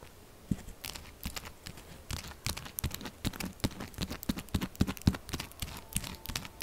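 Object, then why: Bar of soap. Long acrylic nails tap fast on top of a solid, textured pink soap bar lying flat, making rapid, uneven dry clicks and scratchy taps. Each tap is short and dies away almost at once.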